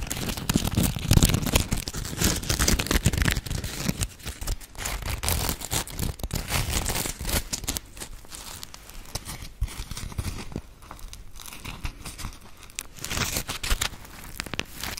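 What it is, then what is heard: Foam sponge scratched and squeezed. A dry, palm-sized round grey Scrub Daddy sponge made of firm polymer foam, with a smiley face cut-out, is scratched and squeezed with long acrylic nails. It makes dense, irregular crinkly scratching and scraping with short bright clicks over a low rumbling body. The sound is loudest in the first few seconds, then continues more softly.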